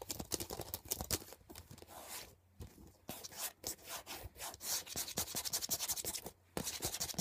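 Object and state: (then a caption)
Plastic CD case, tapped and scratched. Long painted nails quickly tap and scratch across the surface and edge of a thin, flat, transparent hard plastic CD case lying on a blanket. The result is a bright, dry stream of rapid clicks and raspy scrapes with almost no ring, broken by two brief pauses.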